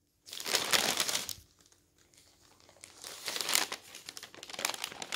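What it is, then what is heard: Newspaper pages being turned. Fingertips quickly lift and flip the thin pages of an open newsprint newspaper lying on a table, making the paper flutter and rustle. Bright, crisp crinkling comes in loud bursts, separated by a quieter stretch of soft rustling, then swells again toward the end.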